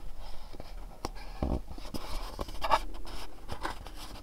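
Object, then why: Cardboard candle box. A small, dark, printed cardboard candle box is turned in the hands, its bottom shown, while fingernails tap and scratch across its faces. Soft, dry taps mix with papery scratching, each tap short with almost no ring, over a quiet low rumble.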